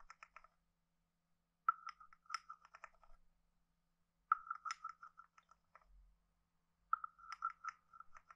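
A wooden stick taps and rubs across the head and body of a hand-sized, hollow, carved wooden frog guiro. Four bursts of quick, dry, hollow clicks and short rasps are heard, with a woody tone near 1.3 kHz, a few bright ticks, and quiet pauses in between.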